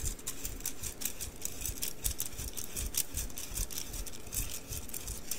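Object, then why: Bundle of thin wooden sticks. A bundle of thin wooden mikado sticks, held upright, is dropped or tapped onto an open palm again and again. The sticks give a dense, continuous woody clatter of bright, high clicks against each other, with a soft low thump under it and no clear pauses.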